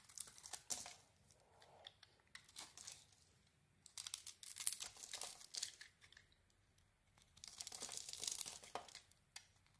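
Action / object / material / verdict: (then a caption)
scrape / bar of soap carved with a metal blade / soap / none. A solid soap bar with a white core and a dark red and white textured surface is held in the hand and carved into chips with a metal blade. Quiet, bright scraping and crisp crinkling cuts come in three clustered bursts, with short pauses between them.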